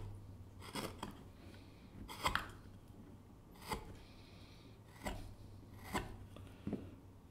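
A gouge cuts and scrapes facets into the exterior of the bowl of a small wooden kuksa cup with a curled handle. Seven short, irregularly spaced rasping strokes rise out of a low, steady hum, each with a bright, dry scraping texture that stops almost at once.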